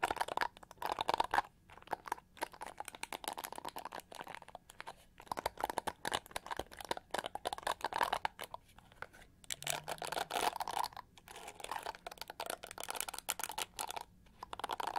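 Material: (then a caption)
Plastic. Long almond-shaped nails scratch and flick across the black plastic bristles of a hand-sized, hollow-backed pink and gold plastic detangling hair brush held bristle-side up, and the brush is rotated by the end. The result is a dense, crackly stream of rapid scratchy clicks and crinkling flicks, centered in the midrange with a bright edge. The clicks come in bursts separated by brief pauses throughout.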